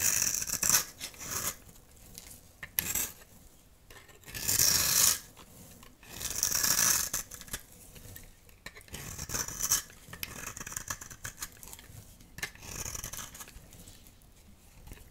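A metal utility knife blade scrapes a dry, solid oval yellow soap bar held in the palm, shaving it into fine crumbs. Dry, bright, raspy scraping strokes come in an irregular rhythm, with longer, louder hissing passes swelling in between quieter scratches.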